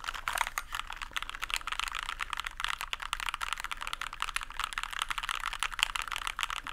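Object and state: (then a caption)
Plastic mechanical keyboard. Fingertips rapidly press and tap the plastic keycaps of a small white compact plastic mechanical keyboard, held upright in both hands close to the microphone. The result is a steady stream of sharp, bright clicks with very little low-end, each one dying away almost instantly.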